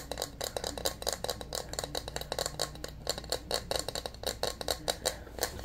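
A white bowling pin with red stripes and a hard glossy coating is held in both hands and tapped with fingertips and nails. The result is a quick, uneven run of light, dry clicks with a bright edge and a slight hollow knock, each dying away almost at once over a faint steady low hum.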